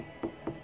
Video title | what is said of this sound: #แตงโมกินรี | เอามือเคาะแน่นดีเลยครับ